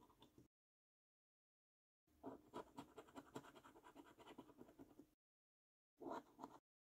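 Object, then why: Paper scratch card with scratch-off coating. A coin scratches the coating off a thin, flat paper scratch card that is held down by hand, revealing the symbols underneath. It makes quiet, rapid, gritty scraping in three bursts separated by silence: a short one, a long continuous stretch, and another short burst. The scratching is mostly in the mid range with some brighter rasp.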